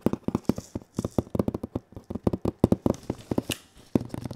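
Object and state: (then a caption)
Cardboard box tapped and scratched. Bare fingertips tap and scratch the printed surface of a large cardboard console box held diagonally against the body. About two dozen quick, dry taps land in uneven bursts, each a short hollow thud pitched low that dies almost at once. Faint, bright scratchy rasps sit between them.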